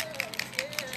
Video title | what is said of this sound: WorleyVille Designs - Surprise Mystery Cup | listen to it when I shake it. Like spray paint in a bottle.